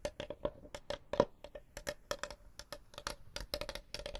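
Long blue nails rapidly tap and scratch the top surface and edges of a small, closed, hollow folding wooden chessboard case with a checkered top, held in front of the microphones. Each tap is a quick, dry click with a hollow ring around 590 Hz that dies away almost at once, mixed with faint scratchy rasps in a steady, irregular series.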